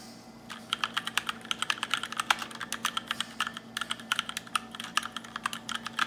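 Fast typing on a small 60% black RGB mechanical keyboard with plastic keycaps, pressed with fingertips and short white-tipped nails by hands in sheer black lace cuffs. About forty crisp, bright clicks sound in quick, uneven bursts, each dying away almost instantly over a faint low steady hum.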